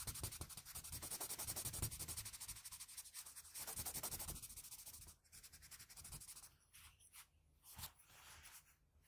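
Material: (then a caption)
Graphite, paper. A plain blue wooden graphite pencil makes fast hatching and shading strokes across a flat sheet of drawing paper, shading the cheek and face of a drawing. A dense, rapid run of bright, scratchy rubbing strokes with a low papery rumble beneath. After about five seconds it grows quieter and more broken into separate short strokes.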